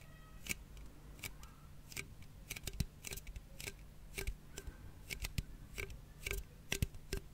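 A closed red aluminium cola can, held close to the mic, is tapped and scratched with fingernails. The result is a quiet, irregular series of sharp, dry, bright clicks and scrapes that stop instantly, over a steady low hum.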